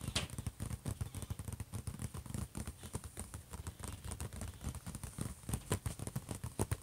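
Fingertips and nails of both hands tap quickly on the closed lid of a silver, hollow HP laptop. The result is a rapid, uneven patter of dull, low, hollow thuds mixed with brief bright clicks from the nails, each tap dying away almost instantly with no ringing.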